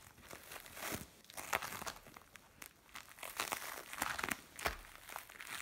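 Fingers knead and scrunch a mixed lump of blue and orange bead play foam. The result is dense, bright crinkling and crunchy crackling, with repeated sharper squishy pops rising above a steady, quiet background of fine grainy rustle.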